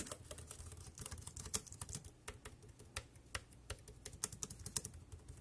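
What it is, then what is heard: Plastic keyboard being typed on. Fingertips type quickly on a dark grey plastic compact wireless keyboard resting on a plastic sheet. The keystrokes land as a steady, uneven patter of short, bright clicks over a soft low thud, each dying away almost instantly.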